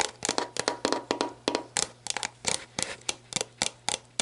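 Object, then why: Plastic drink bottle and cap. Long black nails tap the orange plastic cap and shoulder of a clear plastic sports drink bottle lying on its side, hollow and mostly empty with water droplets inside. The result is a quick, uneven series of short, dry, bright clicks and taps, each dying away almost at once, with a faint low hum underneath.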